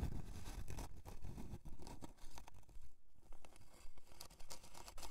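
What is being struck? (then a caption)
Thin plywood board. Long dark nails scratch along the grain of a thin, flat, light plywood heart-shaped board with a twine hanger, resting solid on faux fur. The scratching comes as steady, repeated strokes, each a short rasping scrape with a dull low body and bright, dry streaks.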